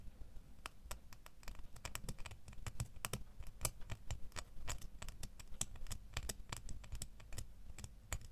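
A small solid metal door key is held between the fingers and tapped and scratched with fingernails. Quick, sharp, bright clicks come in a rapid, uneven stream over a soft low rumble, each tap dying away almost instantly.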